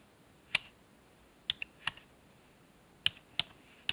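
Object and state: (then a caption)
Plastic computer keyboard keys. A fingertip presses the numpad keys one by one on a black plastic computer keyboard resting on a wooden desk. Seven sharp, short clicks sound at uneven intervals over quiet background, some followed by a faint secondary tick. The clicks are bright and crisp, centred around 2.7 kHz with almost no low end, and each dies away almost instantly.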